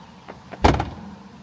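The door of an older Tesla Model 3 Performance, which has only one latch contact point, is shut with a short, low thud. A brief rattly clatter follows the thud and dies out quickly. This is an extra noise that develops over time on older Model 3 doors.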